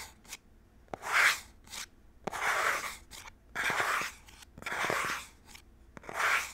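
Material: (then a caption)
Cardboard. Fingernails rub and scratch across the front of a small printed cardboard Nintendo Switch controller box held in both hands. Repeated dry, bright scraping strokes are separated by short quiet gaps and faint ticks, with almost no low end.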